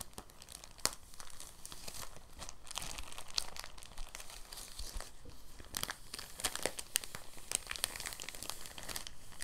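A thin, clear, empty soft plastic bag is held in both hands and crinkled and folded with the fingertips. It makes a steady, soft crackling rustle with bright, crisp crinkles and occasional sharper snaps that die away instantly.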